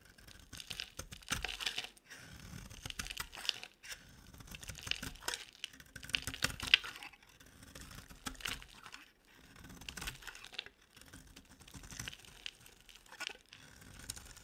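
An oval pink bar of dry, solid soap with a silver-coated back is held in one hand while its face is scraped and shaved with a metal box-cutter blade, peeling off pink flakes. Bursts of dry, crisp, crackling scraping come in several passes separated by brief pauses. The sound is bright and high, with little low end.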